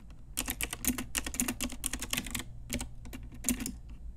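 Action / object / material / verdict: tap / plastic mechanical keyboard / plastic / none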